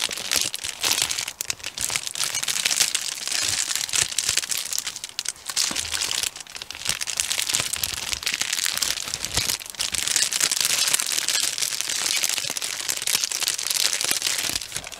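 A medium Amazon Prime poly bubble mailer, hollow and apparently holding a DVD, is crinkled and rubbed with the fingers and palms. It gives a steady, bright plastic crinkling with dense crackles and brief dips, with almost no low end.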